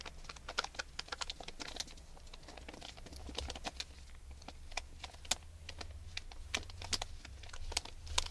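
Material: Aluminium foil.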